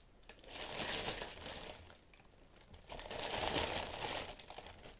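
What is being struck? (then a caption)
Tissue paper. White tissue paper wrapping hot pink leather Valentino platform boots inside an open shoe box is pressed, rubbed and scratched with fingertips and long nails. It gives a bright, dry crinkling that rises in two long swells with a quieter pause between them.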